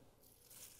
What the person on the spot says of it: you can hear how crispy it is